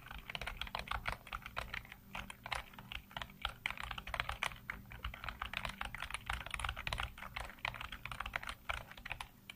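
Fingertips type rapidly across a full-size black plastic computer keyboard with hollow keycaps, producing a dense, continuous stream of short, bright plastic clicks and taps. The keystrokes come too fast to separate, with a steady low hum underneath and each click dying away almost at once.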